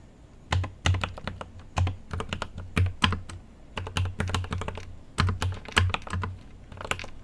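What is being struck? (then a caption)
Mechanical keyboard with plastic keycaps in a metal case. A GMMK Pro mechanical keyboard with an aluminum case and plastic keycaps is typed on with right-hand fingertips, with a microphone nearby but untouched. Irregular bursts of sharp keystrokes are heard, each with a deep, thocky low body and a bright clack, dying away quickly between presses.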